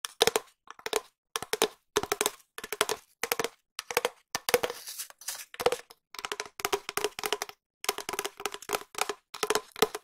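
A long hollow cardboard tube, held horizontally over the microphone, is tapped with long nails and fingertips in quick bursts separated by short pauses. Each burst is a fast patter of dry, hollow taps with a resonant tone near 450 Hz, bright clicky edges and almost no ring.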